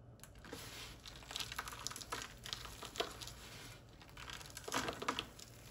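Both bare hands scoop up a pile of crumbled, dry, white-ivory bar soap chunks and flakes on a wooden surface, squeezing and crumbling them between fingers and palms and letting the bits fall back onto the pile. A steady, quiet, bright crinkling and crunching runs throughout, with sharper crackling bursts as the pieces are crushed.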